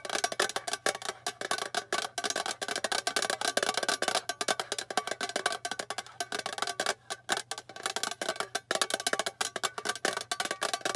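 Long painted fingernails rapidly tap the bare silver underside of a small, flat, rectangular hollow metal tin. The result is a dense, continuous run of crisp, bright clicks with a slight tinny ring around 1.1 kHz. Each tap dies away almost instantly, with brief pauses between bursts.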